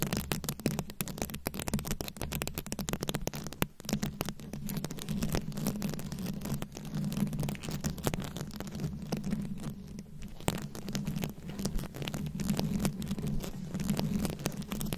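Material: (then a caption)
Plastic rhinestones. Very long acrylic nails scratch and tap rapidly across a fist-sized microphone head that is fully covered in small round rhinestones, likely plastic, and held up close. Dense, crackly scratching and sharp little clicks run continuously for the whole clip over a steady low hum.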